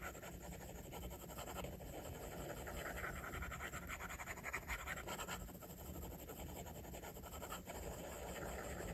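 A plastic stylus tip draws long rubbing strokes across the glass screen of an iPad. The result is a soft, continuous scratchy rasp with brighter swishes on each stroke, over a steady low hum.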